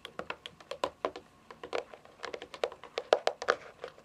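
Long fingernails tap and drum on the top edge and front face of a hollow, rectangular white plastic device, likely a game console, lying on its side on carpet. Twenty-four quick, dry clicks come in an uneven rhythm, each with a hollow plastic tone around 600 Hz and a bright tick that dies away almost at once.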